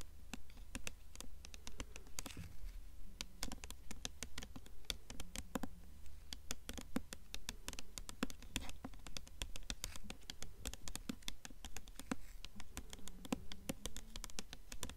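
Long nails tap quickly on the glossy paper dust jacket of a blue hardcover book held upright, with occasional soft scratching. The taps are rapid, dry, bright clicks that die away almost instantly, in a steady, slightly uneven patter over a low constant hum.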